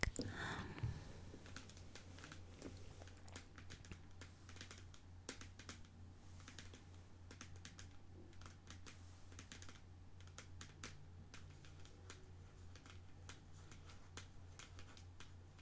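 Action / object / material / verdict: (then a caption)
tap / paperboard canister of dates / paperboard / none. Long nails tap quickly and irregularly on the sides of a medium, cylindrical paperboard canister of pitted dates with a white plastic lid, which appears full and is held in both hands. The result is a steady stream of soft, dry, clicky taps with bright edges, over a constant low hum, after a slightly louder handling rustle at the start.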